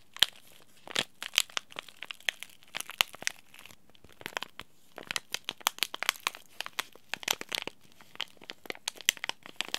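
A small, sealed, green laminated plastic and foil tea bag sachet is crinkled and turned over in the fingers. It makes a steady run of sharp, bright crackles and crisp crinkles with brief pauses, each snap dying away almost instantly, with little low end.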